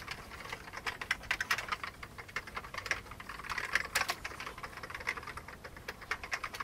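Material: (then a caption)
Plastic. Both hands type rapidly with their fingertips on an old beige plastic computer keyboard. A steady stream of short, bright, dry key clicks patters at an uneven rhythm over about seven seconds, with little low end. Each click dies away almost at once.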